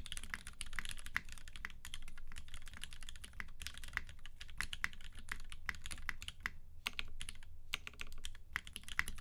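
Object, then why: Mechanical keyboard with plastic keycaps and aluminium case. Fingertips type with both hands on a UTD 360C tenkeyless mechanical keyboard in a gummy-worm mount, with Vintage Black switches lubed with 205g0 and filmed, white PBT keycaps and a silver aluminum case; then one hand moves to the corner of the board. A steady run of short, dry key clacks with a deep thocky body and bright tops, each one dying away almost at once.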